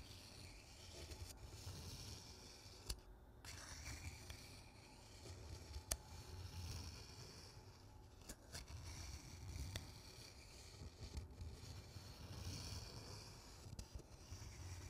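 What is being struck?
Empty paper cup.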